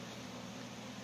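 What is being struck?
Nothing is struck.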